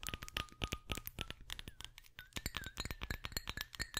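A small, clear, round glass perfume bottle with a metal cap, hollow and mostly empty, is tapped rapidly with long acrylic nails while held in the hand. The dense, sharp clicks and clinks die away almost instantly, over a faint glassy tone that holds steady and then slides gently upward.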